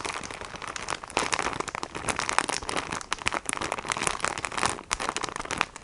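A filled plastic sponge package, held in both hands in front of the chest, is tapped and scratched by fingertips and nails. Dense, bright crinkling and crackling taps run continuously with almost no low end, each tap dying away instantly.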